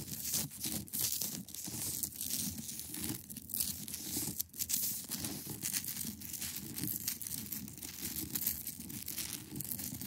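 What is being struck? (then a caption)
Large block of ice. Long acrylic nails scratch across the top of a large, solid, clear ice block. The result is a dense, continuous, bright scraping and crackling texture, close to tearing or crinkling, with a few quieter dips between strokes.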